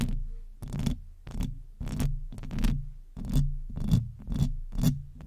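Long nails scratch and lightly tap the hollow metal mesh grille of a silver microphone. The strokes come in repeated bursts, each a deep, boomy rumble topped by a thin, bright scraping hiss, separated by short pauses.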